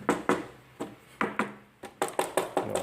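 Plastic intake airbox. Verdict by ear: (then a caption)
Hollow. Eleven light taps on the stock-style plastic COBB intake airbox, with its silicone holes, from a 2015 Subaru WRX STI, give short, quickly fading knocks with a mid-range hollow tone. The plastic airbox sounds hollow, in contrast to a thick homemade Kydex airbox.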